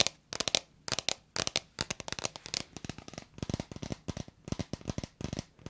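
A hand-sized, hollow red plastic bottle with a white cap, fill not visible, is tapped and scratched with long red acrylic nails close to a microphone. Quick clusters of sharp, bright clicks and scratchy rasps come in bursts separated by short pauses, each one dry with almost no ring.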